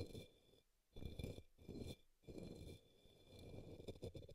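A paintbrush brushes and taps the base of an upside-down, hollow, empty pink opaque plastic cup or small bowl resting on a green towel. Soft, low, hollow swishing comes in bursts, broken by brief quiet gaps, with light dull taps near the end. A faint steady high hiss runs underneath throughout.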